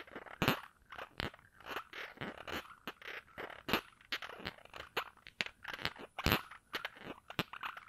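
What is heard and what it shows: Fingers work at the round cap of a small glass perfume bottle held in the other hand, twisting or rubbing and scratching it without tapping the glass. Irregular bursts of dry, crunchy scraping and crackling come close together, with brief bright clicks among them. Each burst stops quickly, leaving little ring.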